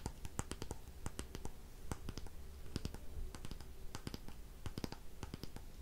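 Long painted fingernails tap and scratch the solid wooden back and handle of a light wooden paddle hairbrush, making quick, sharp, dry clicks in irregular bursts. Softer scratching runs between the clicks, all over a steady low hum.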